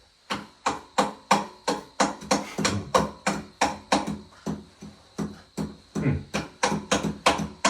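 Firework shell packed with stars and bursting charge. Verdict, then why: Full. A firework shell packed with stars and bursting charge is tapped all over with a large pot lid, giving a rapid series of sharp, short taps. The high sound of the stars and the gritty sound of the bursting charge are heard together, showing the charge is filled to the correct height.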